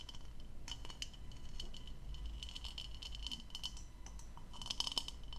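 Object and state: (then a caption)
Plastic goblet. Long light-colored nails and fingertips tap the bowl of a medium, hollow, empty blue plastic goblet with a diamond-textured surface, held up in one hand. The taps are quick, bright, clicky ticks with a faint tone near 3 kHz that dies almost instantly, over a steady low hum.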